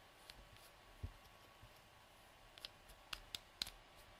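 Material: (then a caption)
Plastic. Fingertips and nails twist and click the snap or screw cap on and off a small, hollow, light-blue plastic cosmetic tube. Six short, sharp, bright clicks sound at irregular intervals against a quiet background, each dying away almost instantly.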